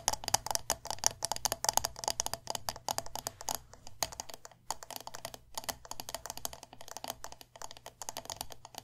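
A medium glass candle jar filled with wax, with a metal lid, has its glass sides tapped rapidly with long nails. Dense bursts of short, bright clicking taps run throughout with brief pauses, over a faint steady low hum.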